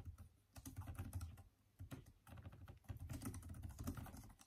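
Fast, continuous fingertip typing with both hands on a backlit Microsoft Surface tablet keyboard with plastic keys. It makes a quiet, steady patter of soft, low, dull clicks with little ring. The typing comes in bursts separated by two brief lulls.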